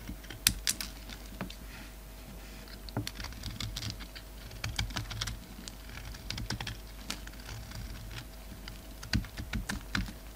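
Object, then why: Soap bar cut with a knife blade. A utility knife blade shaves brittle chunks off a solid black and white bar of soap held in the hand. Sharp, crisp clicks and crackles come in quick irregular bursts, bright and short with almost no ring, over a faint steady low hum.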